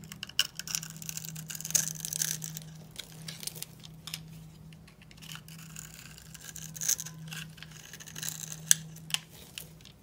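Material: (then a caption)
Soap. A solid, dry purple bar of soap with a pre-scored grid is held in the hand and scraped with a steel utility knife blade, so small cubes crumble off. The scraping makes bright, dry crunching and crackling with sharp clicks, over a steady low hum.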